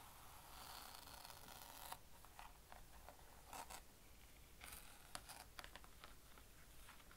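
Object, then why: Plastic lid with fabric pad. Fingertips rub and scratch the grey fabric pad on a flat blue plastic easel lid while the other hand's nails touch its plastic rim. A quiet, continuous scratchy brushing with a bright hiss is broken by short, sharp ticks and clicks from the nails on the plastic.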